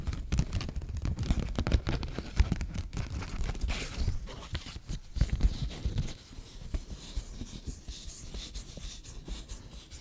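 A 20-dollar paper bill is folded and waved, then crinkled and scratched with long fingernails. Dense crinkling and scratching comes with soft low thumps, busiest and loudest in the first six seconds. The sound then thins to quieter, lighter rustling with faint high hiss.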